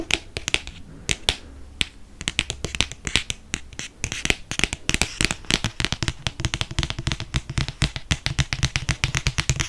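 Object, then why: Hardcover book cover. Fingernails tap quickly on the cover of a hardcover paper book with a moon design. The result is a dense run of sharp, dry clicks with almost no ring, bright yet carrying a low body. The taps speed up and grow more even toward the end.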